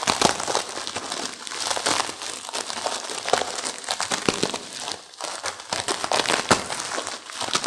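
Long-nailed fingers squeeze and crumple a plastic-wrapped instant noodle pack with crushed noodles inside. The result is a dense, continuous run of bright crinkling and crackling with sharp, quick-dying snaps throughout, and a brief lull near the five-second mark.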